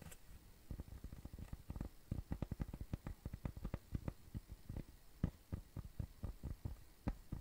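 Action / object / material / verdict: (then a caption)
tap / cork coaster / cork / none. A round, flat, tan cork coaster, thin and solid, is tapped and scratched with fingertips and nails. The result is a quiet, rapid series of dull, low thumps with almost no ring, over faint scratchy texture.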